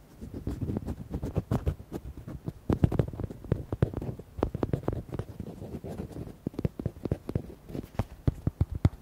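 Fingertips and nails tap quickly on the body of a red hollow rubber duck toy with white hearts. The taps are dull, hollow thumps with sharp, dry clicks, with no ring. They come in a fast, uneven stream for about nine seconds.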